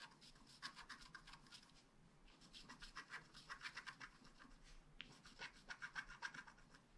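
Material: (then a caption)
Coated paper. A wooden stylus scratches the coating of a flat black scratch art card made of wax-coated paper. Quick, dry, bright scratching strokes repeat rapidly in bursts, with short pauses near 2 and 5 seconds.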